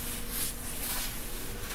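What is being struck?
Nothing is struck.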